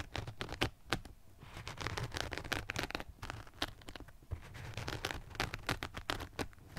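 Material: Rubber.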